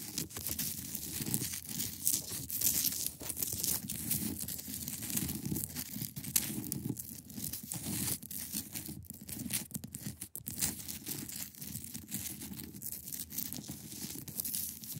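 Long acrylic nails scratch across the top surface of a large, solid, clear ice block. The result is a dense, continuous run of rapid scraping strokes with a bright, hissy texture over a rough, low grainy body and no lingering ring.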